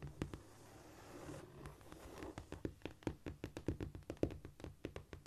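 Long pointed nails scurry and scratch across a flat, solid cork floor, making a soft, dull rustling hiss for about the first two seconds. They then switch to quick, irregular taps, each a short, dry, low thud around 320 Hz with almost no ring.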